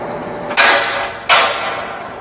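A salt (halite) mine roof is sounded by striking it twice with a scaling bar or rock bolt, producing two sharp metallic strikes. Each one rings out bright and high for about half a second before fading. The clear ring marks the roof as solid and well attached rather than hollow or drummy.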